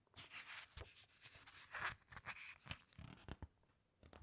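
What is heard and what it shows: Fingertips press, squeeze and rub the glossy pages of a large hardcover book lying flat, then turn a page. Crisp, bright papery rustles and short scratchy rubs come in quick bursts, with a few sharper crinkles, over a quiet background.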